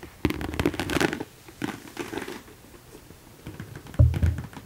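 Long decorated nails tap and scratch the textured front of a small, hollow, mauve croc-embossed leather top-handle handbag with gold hardware, held up in the air. A dense run of dry, crisp taps and rasping scratches gives way to softer, scattered scraping, then a sudden louder, low, hollow knock near the end.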